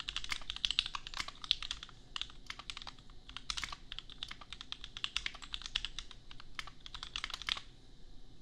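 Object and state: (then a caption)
Plastic mechanical keyboard. A $250 custom 60% mechanical keyboard with Gateron Milky Yellow switches and red and white plastic keycaps, resting on an anime desk mat, is typed on with the bare fingertips of both hands. A steady run of quick, bright clacking keystrokes, each short with no ring, continues over a low, quiet background.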